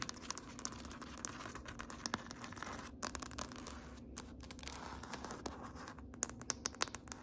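Long nails tap and scratch across a large, solid grey wood-grain floor. Quiet, dry, rapid clicks and crisp scratchy scrapes stay bright and mostly high, with no ring after each contact. A faint steady low hum sits underneath.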